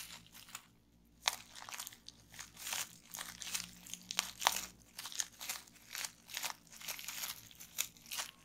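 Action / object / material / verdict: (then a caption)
tap / plastic bubble wrap / plastic / none. Fingertips and long nails press and pop the bubbles on a roll of clear plastic bubble wrap resting on a table. Quick, bright crinkling crunches come in bursts, with sharp snapping pops standing out at intervals, and almost no low end.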